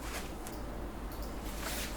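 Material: Nothing is struck.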